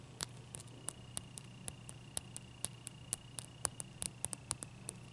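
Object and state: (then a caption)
Ice cube tapped with fingernails. Long nails tap a large, clear, solid ice cube resting on a towel, making about twenty quick, dry, bright clicks that stop almost instantly. They fall in an uneven rhythm over a quiet, steady low hum and a faint thin whine.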